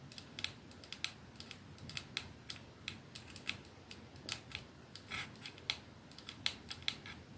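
A 212 capsule glass perfume bottle with a silver band is held in one palm while the nails of the same hand tap rapidly on it. About thirty short, bright, quiet clicks sound in an uneven rhythm, each dying away almost at once over a faint steady hiss.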